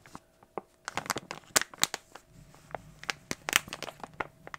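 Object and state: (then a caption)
Crinkled plastic foil bag. An opened glossy plastic foil toy blind bag is crushed and crinkled in the hands. Sharp, bright crackles come in irregular bursts, some louder snaps standing out over a soft rustle.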